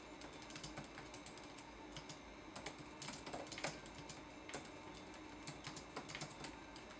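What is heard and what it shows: Fingertips tap the plastic keys of a laptop keyboard in a steady typing rhythm, and the keyboard's backlight comes on partway through. The soft, quick clicks are bright and short, with a few louder taps standing out over a quiet background.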